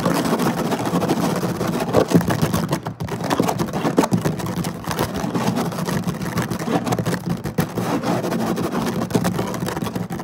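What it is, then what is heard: Woven placemat (synthetic fiber). Fingertips and short nails scratch fast and close across a flat woven synthetic-fiber placemat lying on a table. The result is a dense, continuous rasping texture with a steady low-mid body, brief dips in loudness, and little high or bright content.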